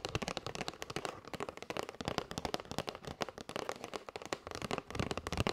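Long white nails rapidly tap and scratch the top and side edges of a kraft cardboard box of paper straws. The result is a dense run of dry, crisp clicks and taps with papery scratching between them. Each hit dies away almost instantly with no ringing.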